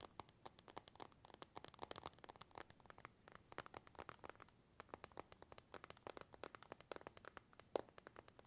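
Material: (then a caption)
Glass. A glass and metal iPhone is tapped and scratched with a thin white stylus and fingertips, producing dozens of quick, crisp clicks and light scratches. The sound stays quiet and dry, with each tap dying away almost at once.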